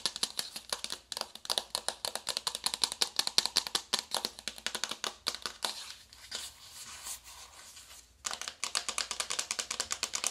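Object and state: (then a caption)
Cardboard makeup palette box. A small, flat, hollow navy cardboard makeup palette box is held in both hands and tapped and scratched with long acrylic nails. Fast, irregular streams of crisp, bright clicks with almost no ring give way briefly to softer, continuous scratching in the middle, then the rapid tapping resumes.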